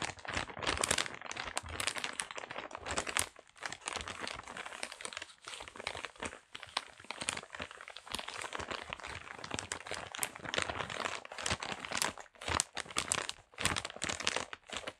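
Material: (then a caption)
Paper. A small, flat parcel wrapped in kraft paper is squeezed, pressed and rubbed with the fingers and palm. The paper gives dense, bright crinkling and crackling in rapid bursts, with a few brief quiet pauses throughout.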